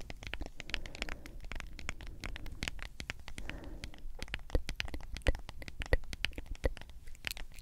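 Long acrylic nails tap and scratch across the white lid and printed label of a medium, hollow plastic G Fuel powder tub. Quick, irregular, dry clicks mix with rasping scratches over a low, hollow body resonance. A few louder, sharper taps stand out toward the end.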